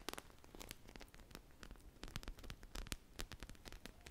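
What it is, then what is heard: Foam squishy toy. A single teal-glazed polyurethane foam ice-cream pop squishy with colorful sprinkles, made of solid foam, is held up close and scratched and tapped with long mauve nails and fingertips, then squeezed. A rapid series of short, dry, crackling clicks and scratchy taps is heard, bright and tearing-like, each dying away almost instantly over a soft low rumble.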